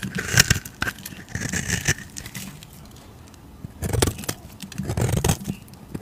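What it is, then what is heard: Bar soap being shaved. A utility knife blade shaves the surface of a solid cream-white soap bar with a purple rim, held in the fingers. Dry, crackly scraping comes in short bursts with bright, high hiss and a soft low rumble, then fades to near silence before a second run of shaving.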